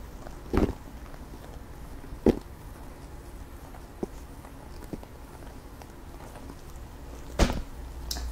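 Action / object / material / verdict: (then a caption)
tap / small clear plastic box / plastic / none. A small, hollow, rectangular clear plastic box with green contents or an insert is held in one hand near the microphone and tapped with long pink acrylic nails. Several short, crisp plastic clicks ring out at irregular intervals over a low, steady background hum. Some taps are louder and brighter than the others.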